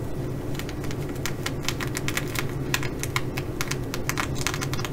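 Long nails on one hand tap and scratch across the sequins of a blue reversible flip-sequin fabric bag. The result is a quick, irregular run of sharp, bright clicks over a steady low hum.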